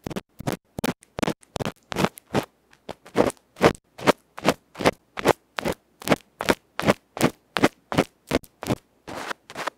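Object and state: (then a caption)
Metal microphone capsule being scratched. A small hollow aluminium electret microphone capsule with a black felt face, held in the fingertips, is scratched by a bamboo ear pick. About thirty short, harsh scraping strokes come in a fast, uneven rhythm, each a loud, broadband rasp that cuts off quickly. Several strokes in the middle and at the end run longer and smeared.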